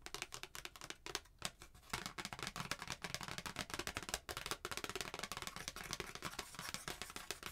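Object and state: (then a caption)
Paper card. A flat white handwritten paper Christmas card, held in both hands, is tapped and scratched with long painted nails and fingertips. Quick, crisp, bright clicks and dry papery scratching run densely throughout, each tap dying away almost instantly.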